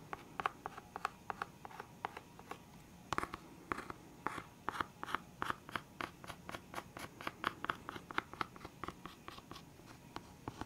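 Fingernails tap and scratch the lid of a full, clear hard plastic box of felt-tip pens. The result is a steady run of quick, dry clicks and brief scratches centered around 1.1 kHz, with faint bright edges, little low end, and almost no ring after each touch.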